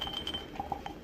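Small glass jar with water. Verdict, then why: Full. A small glass mason jam jar filled with water is struck, giving a series of short, bright glassy clinks. A steady ringing tone near 3 kHz runs through the first half, and several of the clinks centre on a tone around 800 Hz.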